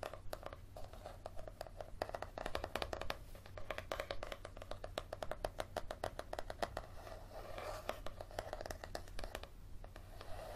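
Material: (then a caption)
Paper. Fingernails scratch quickly over the cover and along the page-block edges of a thick yellow paperback held flat, making a dense run of short, dry, papery scrapes and ticks. The strokes come in fast bursts with a bright rasp, over a steady low hum.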